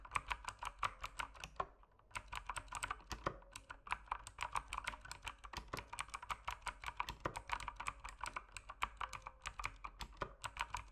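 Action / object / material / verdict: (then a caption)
tap / mechanical keyboard with plastic keycaps / plastic / none. Fingertips type steadily on a mechanical keyboard with plastic keycaps. A rapid run of crisp, bright clacks with very short decay pauses briefly near the two-second mark, then carries on at an even pace.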